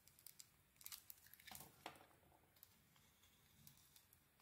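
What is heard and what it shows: A hand-sized solid Cleopatra soap bar with a metallic pink coating and a cream core is held in the hand and carved with a metal utility-knife blade. Quiet, bright, crisp scraping and crackling ticks sound as the cuts peel off thin shavings.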